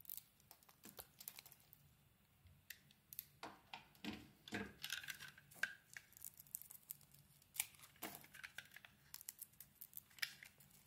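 A utility knife blade carves and scrapes flakes off a solid oval blue bar of soap held in the hand. Many quiet, short, crisp scraping and crackling cuts come in irregular bursts, bright and dry with almost no low end and a faint whistling tone around 1.6 kHz on some strokes.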